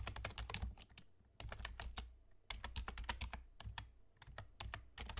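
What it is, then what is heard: Plastic computer keyboard being typed on. Fingertips of both hands type rapidly on a black plastic external gaming keyboard with a German layout and hollow key caps. Quick bursts of sharp, bright clacks with dull low thuds underneath stop abruptly, separated by brief pauses between runs of typing.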